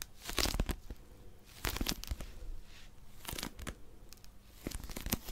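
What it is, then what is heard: Paper pocket dictionary. Long nails grip and scratch the cover of a small blue Oxford paper pocket dictionary, a solid paper book that may be in plastic wrap. Bursts of crinkly, tearing-like scratching with bright, hissy edges and low thumps come in clusters over a quiet background.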